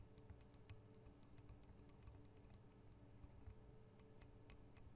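Long acrylic nails tap on the two small hollow microphone capsules of a Tascam DR-40 recorder, which have metal and plastic housings. The quiet, clicky ticks sound like short bright transients over a steady low, rumbly hum. The taps come in a loose, irregular rhythm with almost no ring.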